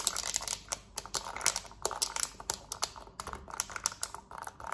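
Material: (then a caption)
Plastic. Long nails tap rapidly on the buttons of a black plastic TV remote, then scratch across its smooth plastic back. The result is a fast run of sharp, bright clicks with crinkly scraping between them, each click dying away almost instantly.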